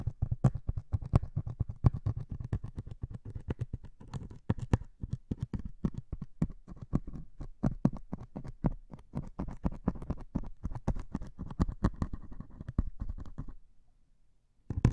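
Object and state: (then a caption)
Melamine foam sponge. A single metal needle pokes and drags across the grey foam of a white and grey melamine sponge held in one hand. It makes a dense run of quick, dull, low scratchy taps and muffled thumps, with a few brighter ticks. The sound falls nearly silent near the end before a last burst of scratching.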